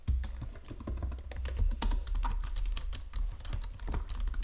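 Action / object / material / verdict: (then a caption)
tap / plastic computer keyboard / plastic / none. Fingertips with painted nails type across the low-profile keys of a full-size white and silver plastic Logitech keyboard resting on a marble desk. The result is a quick, uneven stream of short, bright plastic clicks and taps over a steady low rumble.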